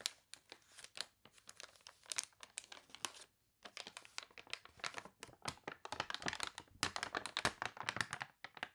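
Long nails scratch the wavy pages of a thick, glossy paper toy catalog, then a page is turned and crumpled. Quiet, bright, crisp crinkles and scratches come in dense rapid bursts, with a brief pause about a third of the way in. The sound gets busier and crunchier toward the end.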